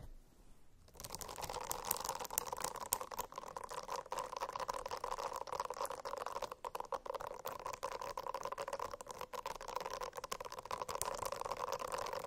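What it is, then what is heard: Silicone notebook, scratched. After about a second of near silence, fingernails scratch steadily across a silicone-covered notebook for the rest of the clip. The sound is a dense, continuous rasp with a midrange hum-like tone and bright crackly ticks scattered throughout, at an even level.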